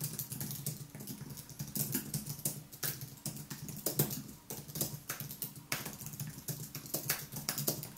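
Fingertips type continuously on the white plastic keys of a thin aluminium and plastic wireless keyboard. The result is a steady stream of quick, soft, bright clicks and taps over a low steady undertone, each keystroke dying away almost at once.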